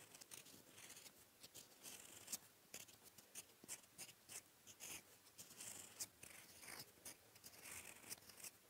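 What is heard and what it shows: A gold metal fountain-pen nib, held in the fingertips, writes blue ink strokes across a flat sheet of lined paper on a desk. Quiet, bright scratches and glides come in many short bursts, with almost no low end.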